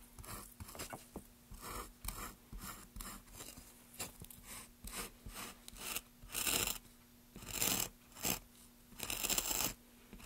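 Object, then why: Basswood block. A carving gouge held in gloved hands scrapes and cuts along the grooves of a solid, pale basswood block. Quick, dry, bright scraping strokes come first, then longer, louder shaving cuts, all over a faint, steady low hum.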